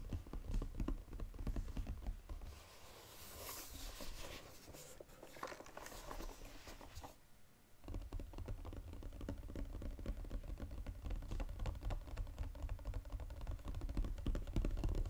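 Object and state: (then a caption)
Cardboard box tapped. Fingertips tap rapidly on a flat Godiva cardboard chocolate box, making dull, low, papery thuds in a fast, uneven patter. Midway the tapping gives way to softer, brighter scratchy handling as the box is flipped over, followed by a brief pause. The fast tapping then resumes on its gold foil-coated bottom.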